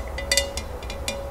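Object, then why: Glass candle holder. Light taps on a glass candle holder containing floating candles make a string of bright clinks over a low background hum. Each tap carries a faint ring near 555 Hz that fades within a fraction of a second.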